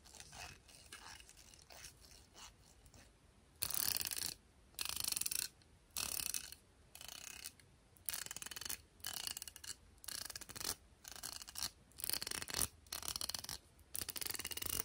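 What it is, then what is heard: Plastic round hairbrush bristles strummed. Fingertips and nails rub and strum across the teal-tipped nylon bristles of a black plastic round hairbrush held close up. Soft, quiet scratching in the first few seconds gives way to louder, bright, crackly ratcheting bursts, each about a second long, separated by short pauses.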